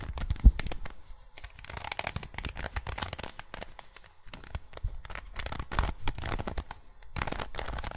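A plastic 3x3 Rubik's cube is turned by gloved fingers close to the recorder, with repeated layer twists giving dense, crinkly clicks and scraping rustles throughout. The sound is soft and close, with bursts of bright ticking over a low rumble and a brief louder knock near the start.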